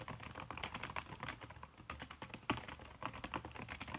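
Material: Silicone.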